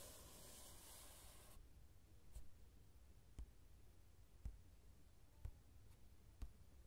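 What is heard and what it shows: Fingertips work over the uncoated paper page of an open coloring book lying flat, printed with a line-art mandala. A steady, bright papery scratching fills the first second and a half, then stops. Soft, short, low taps follow, spaced about a second apart, over quiet hiss.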